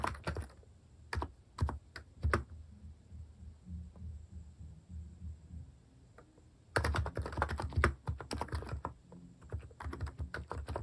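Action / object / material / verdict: tap / keyboard with plastic keycaps / plastic / none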